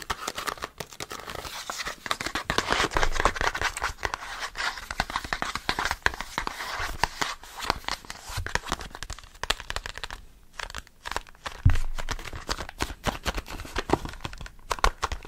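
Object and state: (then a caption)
Cardboard stock cube box, hollow. Fingertips and short nails quickly tap and scratch a small, hollow, green printed cardboard vegetable stock cube box. The result is a dense, fast run of dry taps, papery scratches and crinkly rustles with soft hollow thumps underneath. The sound briefly thins out near the ten-second mark before picking up again.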